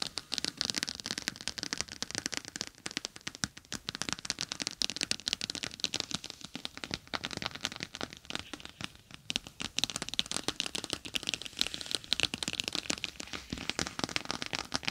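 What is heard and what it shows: Long acrylic nails tap and scratch across a palm-sized clear plastic gel bead eye mask, a pouch filled with small gel beads and edged with a green fabric rim, lying flat on top of a binaural microphone. Dense, irregular, crackly clicks and scratches run throughout, bright and crisp with very little low end, each tap dying away almost instantly.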